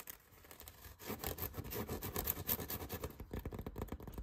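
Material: Foam.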